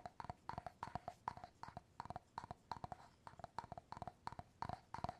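Fingernails and fingertips tap the top of the bamboo lid on an empty clear glass jar, producing a quick, steady run of quiet, hollow wooden knocks, often in close pairs. Each tap has a woody tone in the mid range with a soft low thump and dies away almost instantly.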